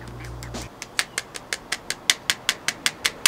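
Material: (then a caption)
Leather. A custom leather knife sheath, wet formed and dunked in beeswax, is tapped 14 times in a quick, steady series of sharp, bright clicks that sound like tapping on wood. The hardened leather is solid and does not flex. A low hum fades out just before the tapping begins.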